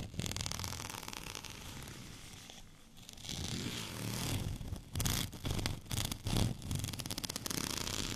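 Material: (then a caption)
Plastic. Fingernails scratch along the bumpy surface of a white textured plastic rolling pin, making a dense, raspy, zipper-like scratching with bright crackle over a low rumble. The scratching is steady at first and dips quietly around the third second. It then returns as louder, separate back-and-forth strokes.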